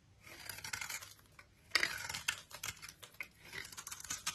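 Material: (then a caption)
Soap. A utility knife blade scrapes the bronze embossed coating off a solid rectangular bar of soap with a white core, held in the hand. Dry, bright rasping strokes crackle in short bursts, with the loudest scrape near the middle and almost no low end.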